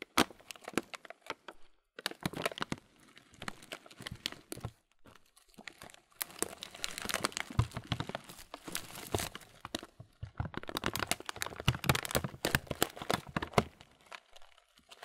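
A transparent thin plastic bag, partly full of oat muesli with raisins, is squeezed and crinkled with fingers. Dense bursts of sharp, bright plastic crackling mix with the soft, gritty crunch of the oats shifting inside. The bursts come in uneven clusters separated by brief quiet pauses.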